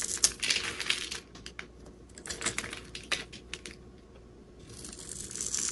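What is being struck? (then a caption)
Bar of soap scraped by a metal blade. A metal utility-knife blade scrapes and shaves the flat surface and edges of a solid, hand-sized green bar of soap held in the hand, and crumbly shavings fall onto paper. The sound is a run of dry, bright, crisp scratches and small ticks at an uneven rhythm, each dying away almost instantly. Near the end it turns into a longer, steady high hiss as the blade drags across the soap.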